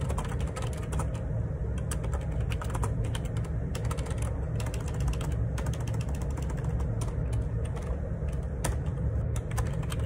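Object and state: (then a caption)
Plastic computer keyboard being typed on. Fingertips type rapidly on the plastic keycaps of a black Perixx Periboard 612 wireless Bluetooth dual ergonomic split keyboard resting on a grey desk. A steady stream of quick, bright key clicks rides over a constant low rumble, with no pause across the whole stretch.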